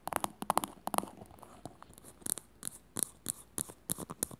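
Long fingernails tap and scratch a small, glossy teal plastic cylinder, likely hollow, as it is turned in the hands. Quick, irregular dry clicks with a hollow midrange knock come first, then softer scratching. Brighter, sharper high taps finish the quiet clip.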